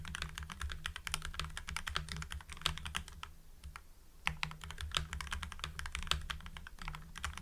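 Fingertips type steadily on a full-size mechanical keyboard with lubed Gateron Yellow linear switches, white PBT cherry-profile keycaps and a blue backlight, then the hands withdraw at the end. Quick, crisp, poppy clacks with short, bright, dry attacks follow one another rapidly over a steady low hum, with a brief lull in the typing just before the four-second mark.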